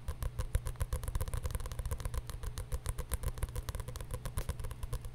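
A paper journal is tapped rapidly with many short, dry taps. The taps sound as soft, low thuds with little ring and only a faint bright click on each one.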